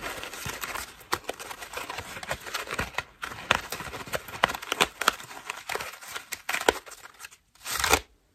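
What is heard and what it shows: Long nails scratch across the ruffled foam petals of a white foam bath loofah with a rope loop, held in the hand. Dense, crinkly scratching with sharp, bright ticks fills the clip, broken by a short silence before a final rough burst of scratching.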